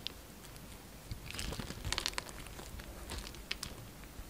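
A utility knife breaks crumbly cubes off a solid pink soap bar that is held in the hand and pre-scored into small cubes. Short, bright, crunchy scrapes and cuts crackle over a quiet background, clustering most densely around the middle of the clip before a few sharper crunches near the end.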